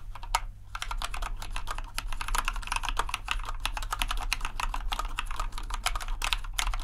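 A compact white plastic RGB mechanical keyboard is pressed key by key with an index finger, then typed on at full speed. Each keystroke gives a short, sharp clack with bright, clicky tops. A steady low hum runs underneath throughout.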